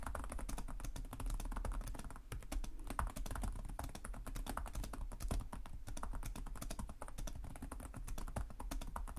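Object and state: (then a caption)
Plastic laptop keyboard. Both hands type rapidly with short-nailed fingertips on the plastic chiclet keys of a black laptop resting on a desk. A steady, dense stream of short, dry key taps and clicks carries a soft low thud beneath, with each tap dying away almost instantly.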